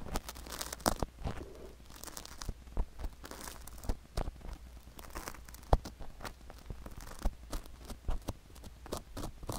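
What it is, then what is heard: Sugar granules scraped on a silicone ear microphone. A flat wooden stick scrapes the sugar granules coating a silicone ear microphone near the ear canal. Close, dry crunching and gritty scratching come in quick, uneven bursts with sharp clicks over a steady low hum. Each crunch stops almost at once, with no ring.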